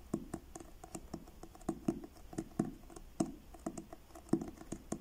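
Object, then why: Paperback book with card cover. Fingertips tap the front cover of a blue card-covered paperback book held upright. An irregular run of soft, dull taps sounds with a low-mid body, little brightness and a very quick decay, some landing harder than others over a faint steady hum.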